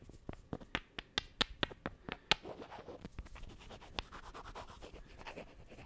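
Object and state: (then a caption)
Small wooden blocks. Two small, solid, light wooden cubes are held close to the microphone and struck and scratched against each other with the fingertips and nails. A quick run of sharp, bright, dry clicks with almost no ring comes first, then a softer, steady scratching rustle with an occasional tap.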